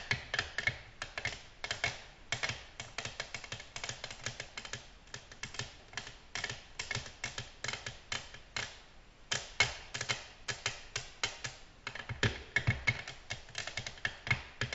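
Natural long fingernails on both hands tap quickly on a solid, flat black glass tabletop. The result is a steady run of bright, clicky taps that stop short with almost no ring, over a faint low background.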